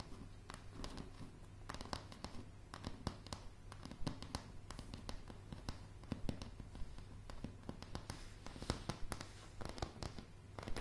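Long polished nails tap and scratch on solid, light pine floorboards, heard up close. Quick, sharp clicks with a short ring fall in an uneven stream over a soft, continuous scratching rustle, with most of the energy low and deep.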